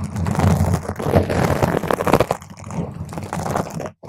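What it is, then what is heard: Foam microphone windscreen being scratched. Long stiletto nails from both hands scratch and grip the surface of a large round purple foam microphone cover. The result is a dense, continuous crunching and rustling with a heavy, muffled low end and little brightness. It stops in a brief silence just before the end.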